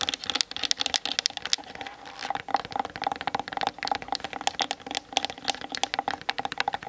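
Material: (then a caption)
Plastic. Long fingernails tap rapidly and scratch across the plastic body and lens of a Canon DSLR camera. Dense, bright, clicky taps carry a faint tonal ring near 800 Hz. Softer scratchy passages run between the bursts, and each tap dies away almost instantly.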